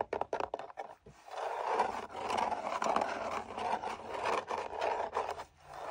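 Fingertips and nails tap and scratch along the face of a long, narrow, hollow red-brown tooled leather sword sheath with gold line decoration, hanging on a wall. A quick run of dry, crisp taps opens the clip, then gives way to steady, rasping scratches in the midrange. The scratches swell and fade in strokes, with brief clicks between them.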